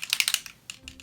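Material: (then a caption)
Plastic. A plastic bottle of gold-glitter prep-and-prime setting spray is shaken, so the mixing ball inside rattles to stir the glitter. The result is a quick burst of bright, high-pitched clicking rattles that thins out into a few softer knocks.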